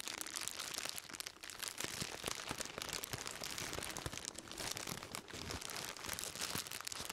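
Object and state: Plastic-wrapped bundle being crinkled.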